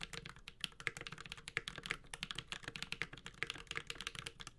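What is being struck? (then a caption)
Mechanical keyboard with ABS keycaps. A Space65 Cybervoyager 65% mechanical keyboard with Holy Panda switches, a metal case, a carbon fiber plate and ABS keycaps is typed on rapidly with the fingertips of both hands. A fast, uneven stream of short, bright clacks, each dying away almost instantly, sits over a faint low thump from the keys bottoming out.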